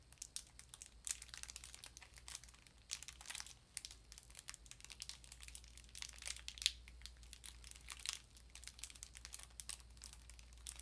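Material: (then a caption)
Foil paper. A small, rectangular, apparently full Brunswick sardine tin in a crinkly gold-and-blue foil paper wrapper is held in both hands while long pink nails and fingertips squeeze and crinkle the wrapper. The result is a quiet stream of bright, sharp crinkles and crackles in uneven bursts over a faint, steady low hum.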